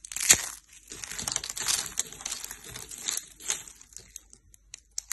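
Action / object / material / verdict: scrape / soap shavings / soap / none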